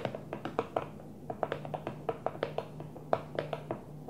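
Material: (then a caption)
Plastic. A Tupperware plastic food container is gently tapped in a quick, uneven run of light, dry taps. Each tap has a hollow plastic tone around 650 Hz and dies away almost at once, over a faint steady low hum.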